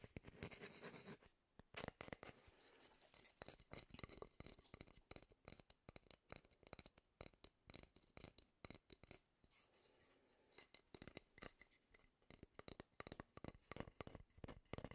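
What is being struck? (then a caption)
Wooden cooking spoon. Fingertips and nails scratch and tap along the bowl of a solid wooden cooking spoon held near the microphone. It opens with a second of dense, bright scratching, then a long run of quick, dry taps and short scrapes that die away almost instantly. The taps ease into a quieter, softer stretch around the ten-second mark before picking up again.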